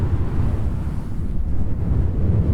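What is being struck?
Nothing is struck.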